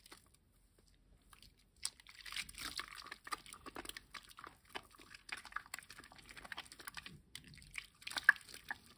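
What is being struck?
Wet bar of household soap rubbed between hands.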